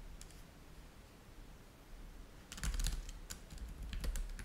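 Fingertips of both hands type rapidly on a black laptop keyboard with plastic chiclet keys resting on a white table. After about two and a half seconds of quiet low hum, a run of soft, bright, clicky key taps begins and continues irregularly to the end.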